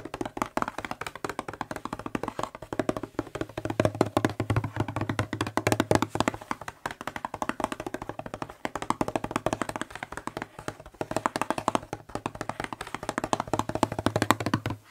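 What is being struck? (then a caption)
Plastic spray bottle. Fingertips and short nails tap rapidly on the blue label of a hollow white plastic spray bottle. The result is a dense, continuous patter of short, dry clicks with a hollow low body, a mid-range tone around 1 kHz, and a little bright tick from the nails.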